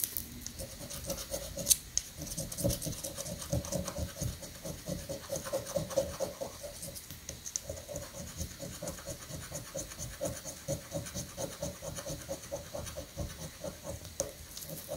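A coin rapidly scratches the prize grid of a thin, flat paper scratch-off prank lottery ticket resting on a sandy granite countertop. The result is a dense, continuous run of quick, dry rasping strokes with bright, gritty high end and brief, sharp attacks. A faint steady hum sits underneath.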